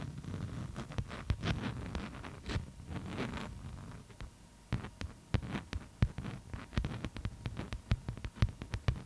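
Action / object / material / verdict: scrape / beeswax-coated cotton food wrap / waxed cotton / none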